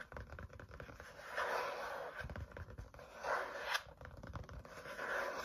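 Fingertips tap and drum on the green card or plastic cover of a medium spiral-bound notebook with black wire binding and a solid paper stack, held tilted in hand. Soft, quick, dull taps run in a loose, uneven rhythm, with brighter papery swells around 1.6 kHz rising and fading between them.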